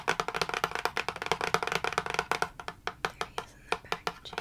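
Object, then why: Printed cardboard box. Long manicured nails tap and scratch a medium-size, hollow printed cardboard retail box for a Star Wars phone holder held in one hand. About two dozen quick, dry, hollow clicks come in a dense, uneven flurry over the first half, then space out into slower, separate taps. Each tap dies away almost instantly.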